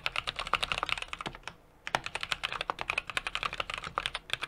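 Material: Plastic, aluminum.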